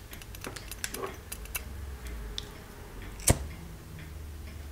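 Fingertips tap and scratch the lid and spout of a small, ornate, hollow gold-plated metal genie lamp with a lid chain. A quick run of light, dry ticks and clicks with very little ring plays over a low background hum. One sharper, brighter tap stands out near the end.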